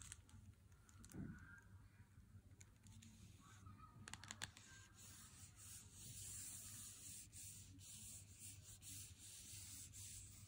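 A full Lindt Excellence 90% chocolate bar in its cardboard box is held in the hand and slowly rubbed with the fingertips. Quiet, dry scratchy rubbing with a bright papery hiss plays over a steady low hum, with a few sharper scrapes around the middle. The rubbing grows slightly louder and denser toward the end.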